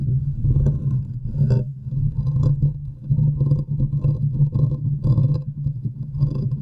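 Long nails scratch around the hollow metal mesh grille of a large condenser microphone with both hands, making a dense, close rumbling scrape with a steady low drone underneath. Brighter crackling bursts rise and fall in repeated waves throughout.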